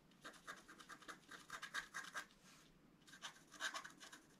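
A wooden stylus scratches the black coating in the centre of a flat, roughly A4 scratch-art card lying on a table. Quick, dry scraping strokes rasp in short bursts with a bright, papery hiss, pausing briefly around the middle before another run of scratches.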